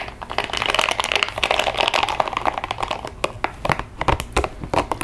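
A small pink translucent rubber spiky sensory ball is held in both hands while long nails scratch and tap its spikes and the hands squeeze it. A dense, crinkly scratching fills the first few seconds, then gives way to sharper, separate taps with bright clicky edges and very short decay.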